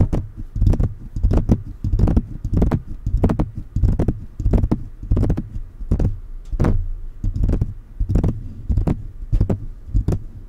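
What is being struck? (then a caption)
Metal condenser microphone with mesh grille. Fingertips of both hands tap and rub around the hollow mesh grille and upper body of a silver metal USB condenser microphone. The result is an irregular series of dull, bassy thumps with soft brushing in between, each tap short and dry with almost no ring.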